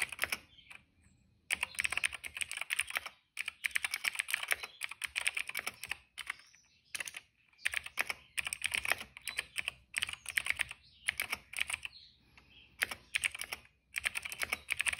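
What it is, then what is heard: Plastic mechanical keyboard. Fingertips of both hands type on a retro-style cream plastic mechanical keyboard with black and purple keycaps. Rapid, bright, clicky keystrokes come in bursts of a second or two, separated by short quiet pauses. Each click is crisp and dies away almost instantly.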